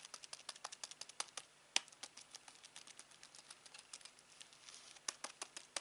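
Fingertips press and tap the rubber buttons of a hollow black plastic Samsung TV remote held in the hand, making about 30 quick, dry, bright clicks and taps. Each tap stops almost instantly, and one sharper click stands out near the middle of the run.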